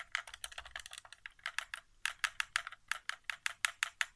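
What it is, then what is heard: Plastic game controller. Fingertips tap near the touchpad and buttons of a white, hollow plastic PS4 controller resting on carpet. About 25 quick, dry, bright plastic taps come in an uneven rhythm like typing, each one stopping instantly with no ring.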